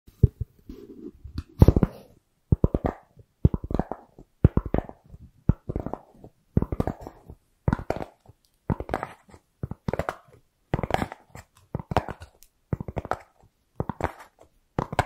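A thin, light, white round styrofoam plate or lid is held beside the microphone and scratched and tapped with long acrylic nails. The result is a steady run of short bursts of quick, dry tapping and scratching, roughly one cluster every second. Each burst has a soft, hollow, low thud with a brief squeaky scrape on top.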